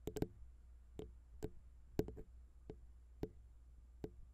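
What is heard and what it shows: Long pink nails tap on the small, hollow chrome XY microphone capsules of a Zoom H6 recorder, first with one hand and then with both. Ten short, dry ticks land at irregular intervals over a low steady hum, each with a faint hollow ring around the mid-low range and almost no lingering tail.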